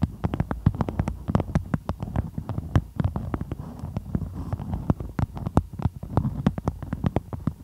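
Long pointed nails scratch and trace over a floral beeswax-coated cotton food wrap stretched over the microphone. The result is a dense, rapid stream of dry crinkly clicks and soft low thumps with no ring, continuing steadily throughout.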